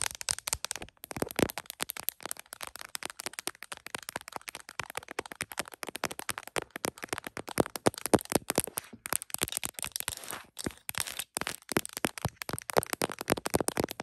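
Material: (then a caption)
Plastic. Long acrylic nails rapidly tap and scratch the back of an iPhone in a smiley plastic case mounted on a tripod, seen in a mirror. The result is a dense stream of sharp, dry clicks with a bright plastic tone and scratchy high hiss. Each click dies away almost instantly, with brief pauses between bursts.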